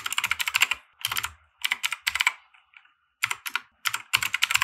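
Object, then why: Plastic mechanical keyboard. A compact 60% mechanical keyboard with white plastic keycaps and RGB lighting, resting on a felt desk mat, is typed on with the fingertips of both hands. Bursts of quick, bright, clicky keystrokes come in short runs separated by brief pauses, each tap sharp and dry with almost no ring.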